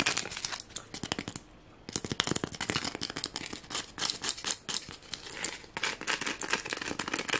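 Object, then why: Sequin-covered foam ornament. Fingernails quickly scratch the red and green sequins on a small white foam Christmas ornament, held close up with its red ribbon hanging down. The result is a fast, dense run of crisp, bright crinkly scratches with little low end, broken by a brief pause near the two-second mark before the scratching resumes.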